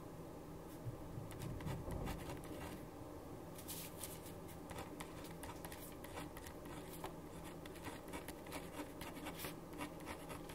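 A ballpoint pen writes steadily on a thin sheet of paper resting on a wooden desk, the sheet held in place by one hand while the other writes. Quick, irregular scratching strokes rise over a low, steady hum, with faint bright ticks throughout.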